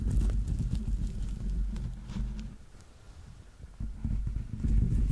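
Fingernails tap and scratch the grey, textured rubber-dotted sole on the stuffed foot of a yellow Teletubby plush held close to the microphone. The result is a dense run of dull, low, muffled thuds and scratchy rubbing, about four per second, that eases off in the middle and grows louder again toward the end.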